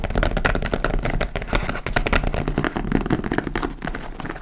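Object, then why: Leather tote bag. Long almond-shaped nails scratch and tap along the top edge and front flap of a large, hollow, dark-brown leather (likely faux) tote bag. The result is a dense, steady stream of dry scratching and quick crisp taps over a low, muffled body, with no pauses between the strokes.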